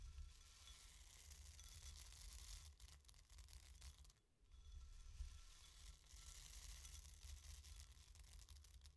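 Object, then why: Dry lentils in a bowl. Loose dry green lentils in a white bowl are raked and stirred with the fingertips and long nails of both hands, making a continuous dry rustling, crackling hiss. It runs steadily under a low, constant hum, dips briefly to near quiet just past four seconds, then resumes.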